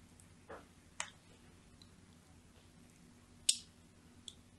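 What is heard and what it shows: A thin metal blade scores diagonal lines across the surface of a solid, cream-colored, palm-sized bar of soap held in a hand with long nails. A few short, bright, scratchy clicks and scrapes stand out from a quiet, low background hum, and each dies away almost instantly.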